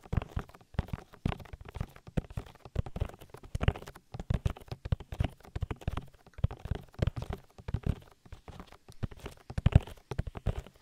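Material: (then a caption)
Silicone. Fingertips pat the oily silicone ear of a binaural microphone in a rhythm. The clip is a quick run of soft, dull, deep thumps grouped in rhythmic bursts. Each thump is muffled and stops almost at once, with very little high sound.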